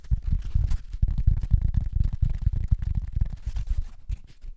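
A flat, rectangular, yellow, porous, dry-looking cellulose sponge is held in both hands above the microphone while fingertips scratch, squeeze and rub its surface. The result is a continuous run of quick, muffled, rumbling scratches and crackles, concentrated deep in the low end with almost no bright content.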